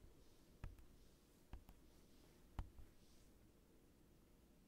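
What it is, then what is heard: Acrylic sheet. Fingers tap on a large rectangular acrylic sheet resting on a desk, with the microphone pointed down at it. Five soft, dull, low thuds are heard, spaced irregularly, each dying away almost instantly against a quiet background.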